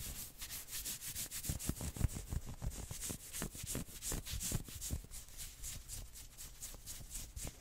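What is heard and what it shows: Fingertips and nails scratch fast along the sleeves of a worn maroon knit sweater. Quick, somewhat uneven strokes make a soft, dry rasp with a bright, hissy edge and faint low thumps, each stroke dying away almost at once.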